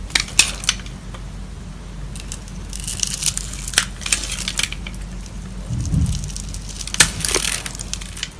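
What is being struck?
Soap bar.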